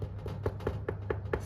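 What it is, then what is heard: Baked-through bread loaf. A wheat poolish bread loaf, baked for about 35 minutes at 210°, is tapped to check whether it is done, giving a series of short, dull knocking taps over a steady low hum. The knocking sound shows the loaf is baked through and ready to cool.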